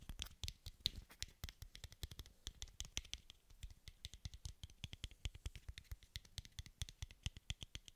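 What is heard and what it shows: A small, hollow, translucent white plastic bottle cap is held in both hands close to the microphone and tapped and scratched with fingertips and short nails. The result is a steady, dense patter of dozens of quick, dry taps and scratchy ticks that stop instantly, each pairing a soft low thump with a bright, high click.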